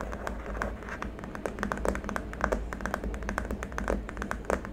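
Both hands tap the fingertips and short nails quickly across the underside of a long, flat white plastic keyboard wrist rest, a solid-looking slab with small rubber feet lying on a dark mat. The result is a rapid, uneven stream of short, dry clicky taps with almost no ring, over a steady low hum.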